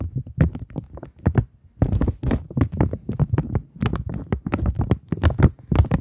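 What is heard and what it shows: A thin polymer £20 banknote held in the hands is scratched and tapped with long nails. The result is a rapid, uneven series of short, dull taps and scratchy flicks, mostly low and thumpy, with a brief pause before the tapping resumes.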